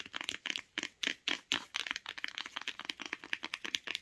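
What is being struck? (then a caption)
Cloth-bound hardcover book spine. Long nails tap and scratch the spine of a beige cloth-bound hardcover book held in the hand. Crisp, dry, high-pitched clicks with no ring come in quick, uneven runs, mixed with brief scratchy rasps.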